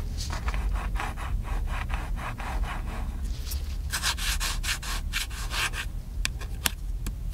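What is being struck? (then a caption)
Plastic camcorder casing. Fingertips and nails rub and scratch the casing of a small, hollow, black plastic handheld camcorder. The result is a run of quick, rhythmic, dry scraping strokes over a steady low background rumble, ending with a few sharp, bright scratchy clicks.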